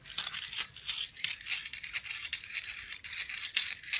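A speckled "confetti" sea rock is tapped and scratched, giving a rapid run of bright, dry clicks and scraping rasps. The sound sits almost entirely in the high range, with short ticks that die away quickly.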